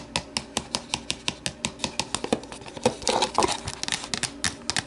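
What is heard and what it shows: Long nails tap and scratch the sides of an empty, hollow, translucent plastic deli container as it is tilted and then set upright. Quick, sharp, bright clicks with a hollow plastic body ring out briefly, then a rough burst of scratching fills the middle before the steady tapping returns.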